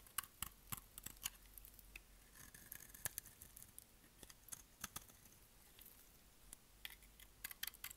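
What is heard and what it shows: The edge of a solid, rectangular, pale yellow dry bar of soap is held in the hand and shaved with a utility knife blade. The result is a rapid series of short, crisp scraping and cutting clicks that are bright and high-pitched, with quick decay. Quiet gaps fall between the strokes.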